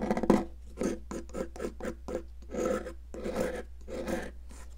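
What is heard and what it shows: A solid pink popsicle-shaped sidewalk chalk stick is rasped with a metal palette knife on a plastic mat, with powder and flakes collecting. A series of short, dry, gritty scraping strokes is heard, some quick and some longer and drawn out, over a faint low hum.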